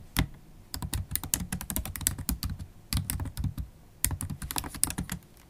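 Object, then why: Plastic laptop keyboard keys. Long holographic acrylic nails and fingertips type fast and continuously on a MacBook Pro keyboard with black plastic keys in an aluminium body. Rapid bursts of crisp, bright clicks and nail taps ride over soft low thumps of the keys bottoming out, with brief pauses between the runs.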